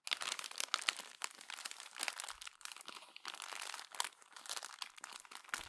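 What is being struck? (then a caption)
Glossy paper magazine pages. Fingertips with long nails crumple and flatten the pages of a glossy paper magazine. The result is a dense run of bright, crackling crinkles centered around 2 kHz, with almost no low end and sharper snapping peaks scattered throughout.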